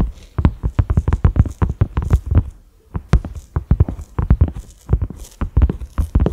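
Fingertips and short nails of both hands tap rapidly on a large, flat cream silicone pot lid with concentric ridges and a black center knob. A few dozen soft, dull, low thuds come in quick irregular bursts, each dying almost instantly. There is a brief pause just before the three-second mark.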